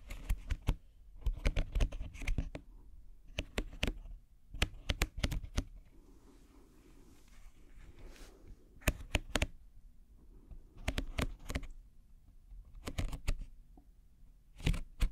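A small, hollow woven wicker basket is held up in one hand and scratched with the fingernails of the other. Dry, crisp scratching clicks come in short clustered bursts separated by quieter pauses, each burst stopping dead with no ring. The sound has a low, hollow body and bright, crackly edges.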